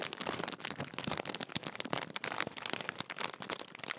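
A large, sealed and full Walkers crisp packet made of metallised plastic film is held up and crinkled with the fingertips. It makes a dense run of sharp, bright crackles and rustles with very little low end, each crinkle snapping off almost instantly.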